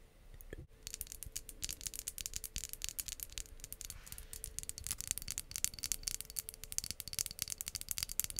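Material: Glass.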